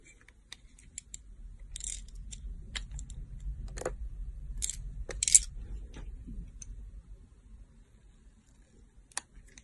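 A utility knife blade, held by fingers with long nails, shaves thin layers from a solid round teal translucent glycerin soap bar. Short, bright, crisp scraping and carving strokes come at irregular intervals over a quiet low rumble, with a couple of slightly longer bright scrapes in the middle.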